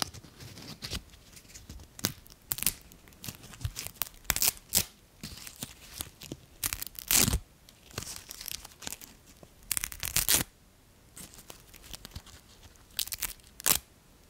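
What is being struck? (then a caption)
Leaf. A single small, thin and brittle dry brown leaf is held in the fingertips and torn into pieces. It produces a quick series of dry tearing and crunching crackles, bright and concentrated in the high range. Short quiet pauses fall between bursts.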